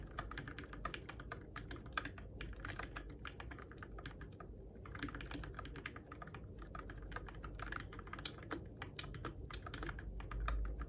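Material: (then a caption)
Plastic. Fingertips type steadily on a Keychron K6 compact RGB-backlit mechanical keyboard with plastic keycaps on switches, in the dark. Rapid, crisp plastic clacks run almost continuously, with a brief lull near the middle. They sit over a low, steady rumble that swells slightly at the very end.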